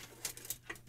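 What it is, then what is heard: Loose part rattling inside an old electronic instrument. A 1930s electronic monitoring instrument with a small CRT, in a metal case, is shaken, and a loose part rattles inside it. Four short, bright clicking rattles are heard. The rattle is a fault, though it is not yet known what the loose piece is.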